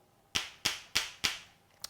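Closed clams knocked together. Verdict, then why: Solid. Two closed clams are knocked together five times to check that they are fresh and edible. Each knock is a sharp, bright click with a quick decay, the last one softer, sounding hard and solid like billiard balls rather than hollow. That means the clams are alive and fine to cook; a hollow sound would mean a dead clam to throw out, and none in this batch were bad.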